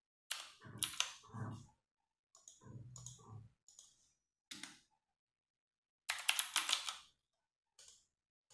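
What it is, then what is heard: Plastic mechanical keyboard being typed on. Fingertips type on a compact 60% mechanical keyboard with RGB-backlit plastic keycaps, producing quick bursts of bright, clicky keystrokes separated by short pauses. Some bursts carry a soft low thud beneath the sharp high clacks, and each press decays almost instantly.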